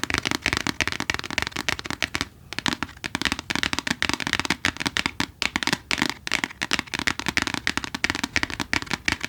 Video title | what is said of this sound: My 10 Favorite ASMR Triggers | Another trigger I really like is your classic book tapping.